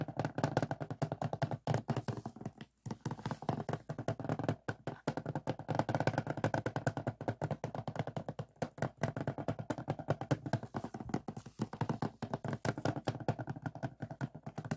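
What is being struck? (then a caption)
Hard plastic DVD case. Fingertips and short nails tap and scratch the front plastic sleeve of a closed hard plastic DVD case lying flat on a table. The result is a rapid, nearly continuous stream of dull, low, clicky taps with very short decay and a faint scratchy rustle, broken by a brief pause near the three-second mark.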